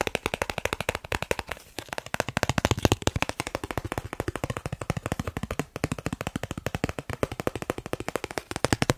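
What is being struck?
Thin plastic card.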